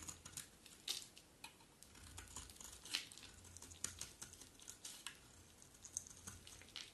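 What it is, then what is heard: Dry soap bar being scraped. A metal utility blade scrapes and cuts flakes from the edge of a hand-sized solid bar of dry blue-and-white striped soap held in hand. Quiet, bright, crisp scratches and rapid ticking snaps come in an irregular stream, each one dying away almost instantly, with a few sharper crackles standing out.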